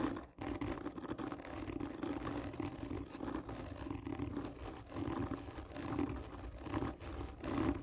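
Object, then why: Cardboard tube. Long fingernails on one hand scratch slowly and firmly across the top of a textured, hollow cardboard tube lying on its side. The result is a continuous rough, dry scraping with a hollow, resonant hum around 285 Hz and a heavy low end, but little brightness.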